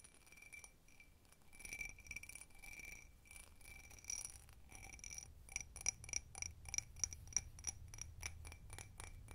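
A small, empty, hollow glass tumbler with a bumpy hobnail cut texture is held in both hands while long red nails scratch and tap its sides. Soft, gritty scratching in the first half gives way to quick, uneven clinking taps, each a bright, high glassy tick that dies away almost at once.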